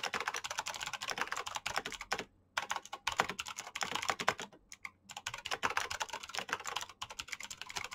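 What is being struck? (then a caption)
Plastic mechanical keyboard. Fingertips of both hands type fast on a black plastic mechanical keyboard with clicky switches. The result is a dense stream of sharp, bright clicks with very little low end, broken by two brief pauses.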